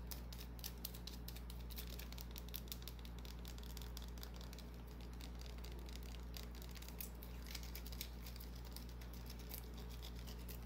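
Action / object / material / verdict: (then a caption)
scrape / small solid bar of soap / soap / none. A small solid white bar of soap, held in the hand, is scratched with long painted nails. It makes quiet, dense, irregular scratchy ticks and bright clicks over a steady low hum.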